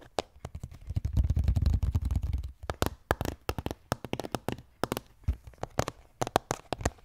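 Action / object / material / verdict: tap / hollow plastic skull container with plastic lid / plastic / none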